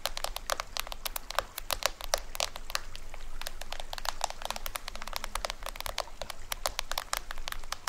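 Fingernails scratch and tap the printed white side shell of a small hollow toy drum with cords, held on its side. A steady stream of quick, dry clicks and scratchy crackles comes through, bright and crisp, each dying away almost instantly. A faint low hum sits underneath.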